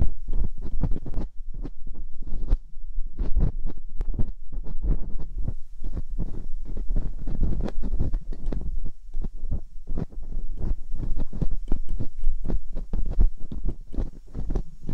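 Metal dental picks, held in both hands with long pink nails, scratch and probe inside the ear canals of a white 3Dio-style binaural microphone with two soft silicone ears. The result is a steady stream of quick, muffled scrapes and soft thumps, heavy in low rumble with brief brighter crackles.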